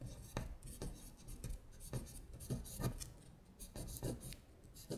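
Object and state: Paper worksheet scratched with nails.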